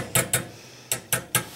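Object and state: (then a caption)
Uncracked porcelain ignition electrode. Five light taps on the tips of the fragile porcelain ignition electrodes of a Carlin 701-801 oil burner, a check for cracks. Each tap gives a short, bright click with a quick decay and no rattle, so the electrode insulator sounds uncracked.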